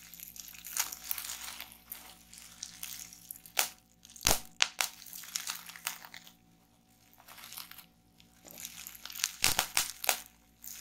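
Clear plastic bubble wrap, rolled into a tube and lying on a wooden table, is pressed with fingers and nails, then twisted and squeezed with both hands to pop the bubbles. The result is bright crinkling and crackling, broken by sharp, sudden pops that cluster around the middle and near the end, with quiet pauses in between. A faint, steady low hum sits underneath throughout.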